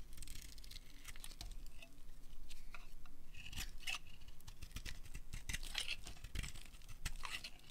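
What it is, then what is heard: Dry soap bar being carved. A solid pink dry soap bar held in the hand is scraped and carved with a metal utility blade, curls breaking off. Dense, dry scraping and crisp crackling cuts come in quick bursts over a low rumble, with bright, brittle snaps as pieces break away.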